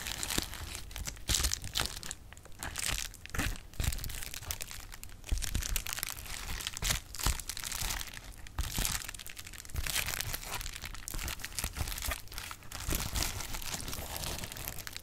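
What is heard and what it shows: Clear plastic bubble wrap is popped and crinkled with fingers, giving a steady run of dense, bright crinkling broken by many sharp, quick pops. The clicks die away almost at once over a low, soft rumble.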